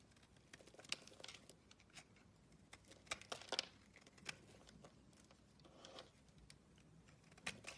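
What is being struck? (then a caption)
Bar soap scraped with a metal blade. A metal blade scrapes flakes off an oval, solid blue bar of soap held in the palm. The quiet, bright, crisp scratches and crackles come in short irregular bursts with a few sharper clicks, and almost no low end.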